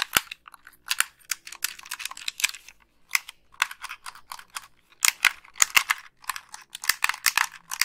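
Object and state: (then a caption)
Plastic game controller. A white, hand-sized, hollow plastic Xbox 360 gamepad is held in both hands while long pink acrylic nails press its buttons and tap its shell. The result is a rapid run of dry, bright clicks in uneven bursts, each dying almost instantly with no low-end body.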